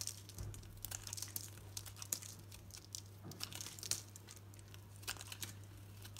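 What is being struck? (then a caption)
Bar of soap shaved with a knife blade. A solid green Dalan soap bar held in the hand is shaved with a knife blade into thin curls, making rapid, dry, crinkly scraping and crunching bursts that are bright and high. A steady low hum runs underneath throughout.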